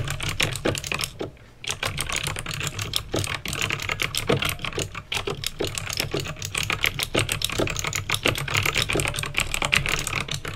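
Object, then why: Plastic mechanical keyboard. Fingertips with painted nails type steadily on a backlit plastic mechanical keyboard with clicky green switches, producing a rapid stream of sharp, bright clacks that die away almost instantly. A steady low hum runs underneath, and the typing pauses briefly near the start before continuing at an even pace.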